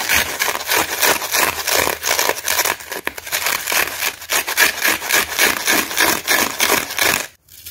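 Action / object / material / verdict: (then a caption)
scrape / cellulose kitchen sponge / cellulose / none. Fingertips and short nails scratch and rub across the rough face of a dry, hand-sized yellow cellulose kitchen sponge, porous and solid, with green scourer fibres left on its surface after the scouring pad was ripped off, while the other hand holds it. Rapid, uneven strokes make bright, dry, rasping scratches with almost no low end, and the sound cuts off abruptly just before the end.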